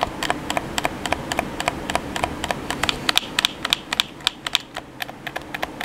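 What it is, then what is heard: Plastic game controller buttons tapped. A hollow black plastic PS4 controller has its face buttons tapped quickly by fingertips and thumbs. The result is a dense run of sharp, bright plastic clicks with almost no ring, coming at an uneven rhythm over a low background hum.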